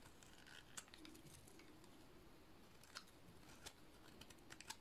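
A metal utility-knife blade shaves a solid white bar of dry soap, giving a quiet, steady crumbly scraping over a soft low hum. Sharp, bright clicks and snaps stand out at irregular moments as flakes break away.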